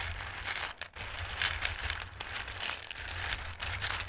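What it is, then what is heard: Raw dried pasta shapes. Fingers with long red nails rub and shuffle raw, dried pasta shapes in a full bowl. The result is a steady, bright, crisp rustle of many small clicks and scrapes, with a faint low hum underneath and a brief dip near the first second.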